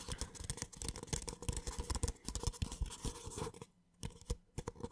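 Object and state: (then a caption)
Paper cup. A small, empty white paper cup is scratched with short nails and tapped on its side and base with the fingertips. The result is a quick run of soft, dry scratches and hollow taps, heavy in the low end with bright edges. There is a brief pause just before the fourth second, then a few more scattered taps.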